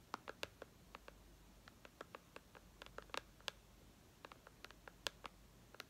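Long red nails tap and scratch the glass screen of a white iPad resting on lace. About two dozen quiet, sharp clicks with a bright edge sound one after another, each dying away at once over a faint hiss.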